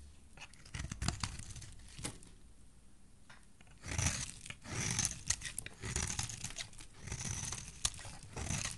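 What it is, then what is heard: Soap bar being scraped. A hand with dark-painted nails holds a solid teal soap bar while a metal blade scrapes its edge into shavings. The sound is a series of crisp, crackling, tearing scrapes with bright highs and a soft low body, quieting briefly in the middle before louder, denser bursts of shaving return.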